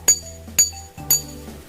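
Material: Glass.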